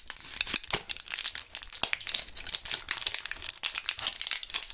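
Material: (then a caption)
Plastic, foil. A small, partly full clear plastic blister pack of Thrills gum, with foil backing and purple gum pieces inside, is handled and crinkled with gloved fingertips. Dense, bright crinkling and crackling continues throughout in quick, sharp bursts with almost no low end.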